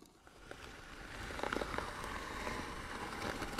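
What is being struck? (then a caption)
Wooden box. Short fingernails scratch the lid of a hollow white wooden box with bead trim. A dry, crackling scratch grows steadily louder over a few seconds, with sharp clicky scrapes standing out near the middle.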